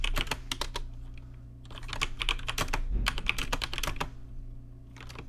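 Fingertips type on a rainbow-lit plastic RGB mechanical keyboard with plastic keycaps, producing quick, irregular bursts of sharp, bright clacks that die away instantly. The typing pauses briefly in the middle, then resumes before easing off, all over a steady low hum.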